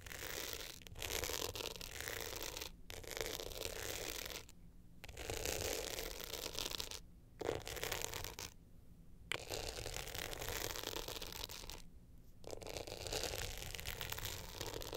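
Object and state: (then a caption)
Glitter hard-shell clutch with metal frame. Long nails scratch across the glitter surface and metal frame of an upright hard-shell clutch held in both hands. The result is a dense, bright, gritty rasping that runs in steady bursts broken by several short pauses, over a constant low rumble.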